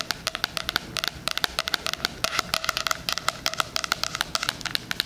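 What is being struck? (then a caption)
Cardboard-covered spiral-bound planner. Fingernails tap and scratch the cover and edges of a floral, cardboard-covered 2020 spiral-bound hardcover planner. About 34 quick, dry clicks come in an uneven, rapid run, sharp and bright with a tone near 1.5 kHz and almost no ring. A faint scratchy crackle sits underneath, with very little low end.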